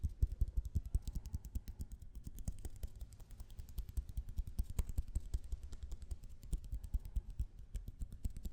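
A roll of blue tape is tapped in quick, irregular bursts, giving dense, soft, dull low thuds that stop almost instantly. The taps come too fast and overlap too much to count apart.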